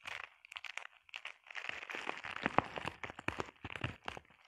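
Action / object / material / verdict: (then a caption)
tap / plastic bubble wrap sheet / plastic / none. Long painted nails tap and scratch across a flat sheet of clear plastic bubble wrap. The result is a quiet, rapid, irregular run of dry crinkly clicks and scratchy rustles with a bright edge. Each tap dies away instantly.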